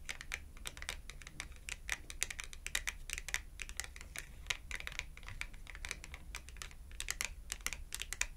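The edge of a small red glossy cardboard clothing tag, held edge-on, is tapped rapidly with long acrylic nails. It makes a quick, uneven stream of dry, sharp clicks that are bright and centered around 2 kHz. Each click dies away almost instantly over a faint steady low hum.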